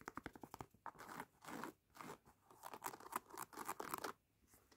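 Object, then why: Knit textile sneaker upper. Fingertips and short painted nails scratch and rub across the light grey knit-mesh textile upper of a laced sneaker held hollow in the hands. A rapid run of crisp, dry scratches gives way to longer soft swishing rubs and bursts of close, crackly scraping with a bright edge. The sound is quiet and intimate, with little low end.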